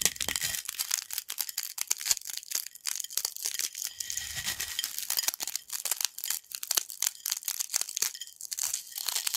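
Small, dry yellow corn snack fragments on a black plate are broken further between fingertips and nails. The result is a dense, continuous run of bright, sharp crunches and crackles with quick snaps and no low rumble.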